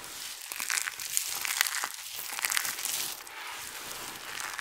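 One hand squeezes a handful from a heap of dry, colorful soap chips, then both hands press and rub across the surface of the pile. The result is a steady, dry crinkling and crunching with bright, papery texture and many quick overlapping crackles. There is almost no low-end sound.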